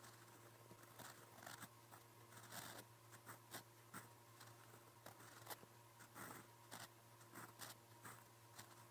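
A silver steel fountain pen nib, held in the fingers, scratches across a lined white notebook page on a flat surface while writing Korean letters in blue ink. It makes a quiet series of short, dry scratching and ticking strokes with bright, crisp edges, heard over a steady low hum.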